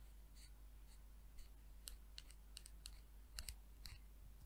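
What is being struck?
Small amber glass vial with a plastic cap.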